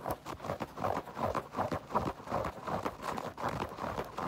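Long nails tap and scratch the mesh fabric upper of an empty white Adidas mesh-and-foam sneaker, then tap its upturned rubber and foam tread sole. The result is a quick, uneven patter of soft, dry clicks centered in the midrange, each one dying away almost at once, with light scratchy rustle between them.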